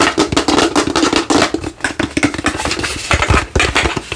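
Fingernails tap and scratch fast over the top of a hollow translucent plastic light-up skull held close. A rapid run of short, dry clicks and scraping strokes with a bright edge, each dying away almost at once.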